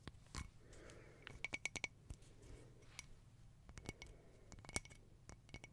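Long nails tap and scratch across a round, hollow glass tea-light holder with a silver crackle mosaic, held in both hands with a lit candle burning inside. Quiet, sharp, bright clicks come in quick irregular bursts, some carrying a faint glassy ring near 2 kHz, with soft scratchy rasping in between.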